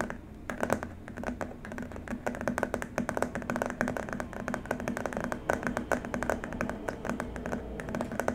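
Both hands tap and scratch with fingertips and short nails on a long, flat white plastic keyboard wrist rest. The result is a rapid, uneven stream of quick, dry clicks and scratchy ticks that die away almost at once, over a steady low tone near 215 Hz.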